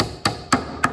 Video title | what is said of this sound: Gluing the top | tap it down just until you hear it solid right there it's not going any further